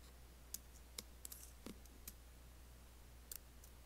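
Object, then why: Laptop keyboard, plastic keys on a metal body. Nails and fingertips tap the black plastic keys of an Apple laptop keyboard with an aluminium body, making sparse, irregular, sharp clicks with a bright, high edge. Each click dies away almost instantly over a steady low hum.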